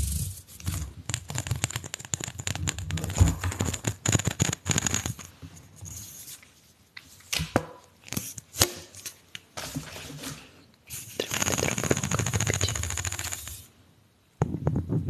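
Fingertips and nails drag along the ridged surface of a single hollow, pink corrugated plastic pop tube held horizontally while it is stretched. This produces dense bursts of rapid, crackling clicks with a low hollow rumble. Brief quieter gaps separate the bursts before the clicking resumes.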